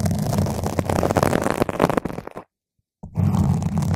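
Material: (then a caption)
Foam. A single long, pointed fingernail slowly scratches and pokes a round purple foam microphone windscreen. This makes loud, muffled, rumbling scrapes that are deep and boomy, with little brightness. The scratching fades into a brief silence, then starts again just as heavily.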